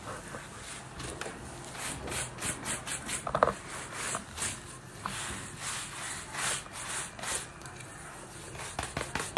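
A wooden-backed bristle brush is scrubbed back and forth over the upper of a green suede lace-up boot worn on a foot, while the other hand steadies the boot. The result is a series of soft, dry, brushing strokes with a bright bristly hiss and little low end. The strokes rise and fall steadily throughout.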